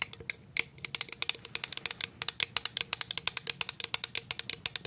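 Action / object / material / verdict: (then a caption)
tap / clear plastic jar lid / plastic / none. Paper clip nail tips tap on the plastic lid top of a clear plastic cashew jar, giving a quick run of about 39 sharp, bright clicks that stop almost instantly. The taps come in an uneven rhythm with almost no low end.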